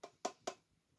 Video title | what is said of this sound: Ouverture Pokemon : Megatin+Tripack | une magnifique box en métal parce que ça sonne métallique